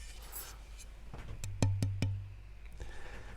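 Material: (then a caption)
Ebony. An ebony fretboard blank is tap tested to compare its tone with rosewood: a quick run of light taps, the last three louder, each giving a dull, low knock around 100 Hz that dies away within a fraction of a second. Rosewood is still judged acoustically superior to ebony.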